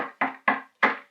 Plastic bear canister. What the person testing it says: sounds like a knock on a door. Sounds pretty solid